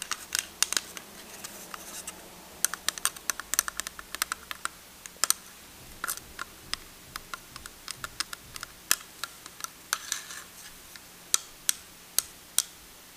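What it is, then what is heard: Plastic miniature desk. A plastic miniature desk is tapped repeatedly, producing quick, irregular runs of sharp, bright clicks. Each tap is dry with almost no ring, over a quiet background.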